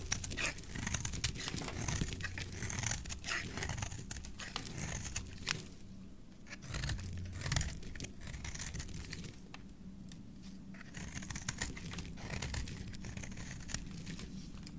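A solid white soap bar with green specks, held in the hand, is carved in layers with a utility knife blade. Dense, crisp scraping and crumbly crinkling run throughout over a low, steady rumble. The shaving briefly eases around the middle of the clip and near the end before picking back up.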